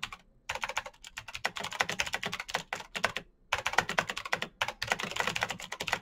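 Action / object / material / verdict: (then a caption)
tap / plastic mechanical keyboard / plastic / none. Fingertips of both hands type fast on the keycaps of a black plastic full-size Razer BlackWidow mechanical keyboard with clicky green switches, RGB backlight and a hollow case, resting on a desk mat. Rapid, bright, sharp clicks come in dense bursts separated by brief pauses, each keystroke ending almost instantly with very little low thump.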